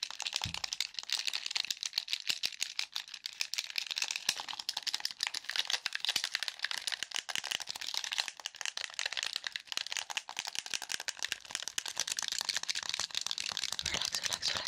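A black, hollow plastic game controller is held near the mic while fingertips and nails rapidly tap and click its buttons and casing. The result is a fast, continuous stream of sharp, dry clicks and ticks, bright and high with almost no low end, each snap dying away instantly.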